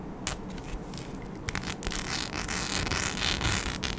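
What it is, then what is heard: Rhinestone-covered sheet scratched with nails. A flat mic skin sheet densely covered in small rhinestones, with round and oval cut-outs, is scratched with long acrylic nails. Dry, bright scratching and crackling ticks start sparse and quiet, then thicken into a denser, louder rasp from about halfway on.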